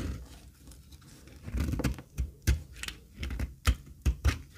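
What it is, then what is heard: Dry soap bar being cut. A metal utility blade scrapes and cuts thin flakes from a flat, solid, pale beige dry soap bar, held by a hand with long red nails over a heap of shavings, in repeated strokes. Short, dry, crisp scraping and cutting sounds come through with low thuds, separated by quiet gaps. Each stroke stops almost instantly with no ring.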